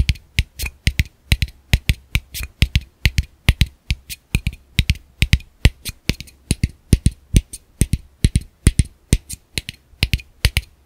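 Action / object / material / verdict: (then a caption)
tap / plastic camera lens cap / plastic / none. A small, hollow black plastic camera lens cap is held between the fingers and tapped with fingertips and short nails in a rhythmic pattern. About fifty quick, dry taps at a steady pace each pair a low hollow thump with a bright clicky edge, and every tap dies away almost instantly.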